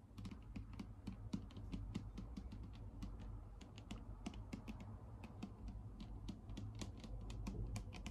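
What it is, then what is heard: Plastic bottle tapped with fingernails. Long pink acrylic nails tap rapidly on a clear plastic Garnier micellar water bottle with a pink cap, held upright and partly full of liquid. The taps are short, dry, light clicks with bright edges, coming in quick uneven bursts over a low, steady background hum.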